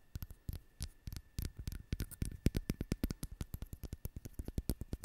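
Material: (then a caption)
Ceramic. A small, solid-looking ceramic owl figurine is held in both hands and tapped and scratched with long acrylic nails. The result is a quick, uneven run of short, dull taps with a low, thumpy body and almost no ring, over a faint steady hum.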